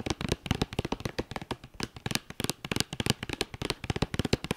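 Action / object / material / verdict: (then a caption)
tap / cardboard eyeshadow palette sleeve / cardboard / none. Long dark-painted nails tap and scratch the top of a hollow, flat white cardboard eyeshadow palette sleeve with a red star logo, lying on a fleece blanket. A quick, irregular run of dry, crisp taps mixed with short scratchy strokes follows, each click dying almost instantly with a faint hollow thump beneath.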